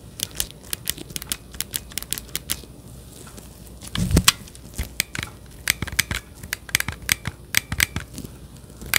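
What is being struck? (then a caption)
Plastic handheld game controller grip. Gloved fingers press and click the buttons of a hollow, handheld-size plastic Nintendo Switch Joy-Con controller grip held beside the microphone. Dozens of short, dry, bright plastic clicks come in quick irregular bursts that stop instantly, with a brief louder rustling clatter and a low thump midway.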